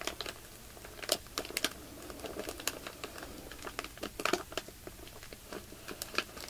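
Fingertips press a clear plastic bag full of white polyester fiber fake snow, crinkling the plastic film along its length. The result is a quiet, steady run of crisp crinkles and sharp, bright ticks, with a few louder snaps standing out. Each one cuts off almost instantly with no ring.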